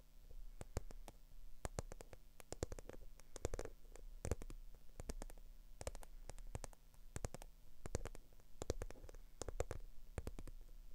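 Long acrylic nails rapidly tap and scratch a small black, glossy, croc-embossed faux leather bag that is being held up. The result is a dense, fast stream of sharp, bright clicks and scratchy rustles over a steady low hum.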